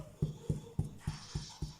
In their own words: Vous entendez, c'est creux quand on tapote. C'est qu'il est cuit.